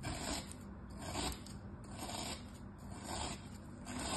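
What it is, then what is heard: Kinetic sand star being scored. A flat, solid star of packed kinetic sand lies on a striped cloth, held by fingertips while a thin metal tool scores lines into it. Soft, gritty scraping and rasping strokes repeat roughly once a second, with a low rumble underneath and a steady high hiss.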